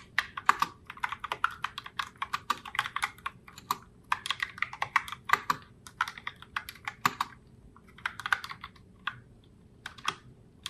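Long nails tap continuously across the round plastic keycaps of a pink Logitech Pop Keys mechanical keyboard in Heartbreaker Rose. The result is a steady stream of crisp, bright plastic clicks and clacks with no low end, each one dying away almost instantly, with brief pauses between bursts of typing.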